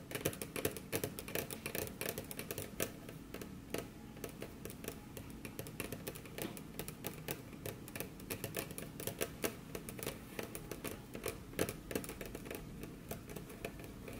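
Very long curved nails tap rapidly across a large, solid, dark brown polished wooden desk surface, and the hands cross over near the end. The result is a steady stream of quick, dry clicks with a short, woody body and almost no ring.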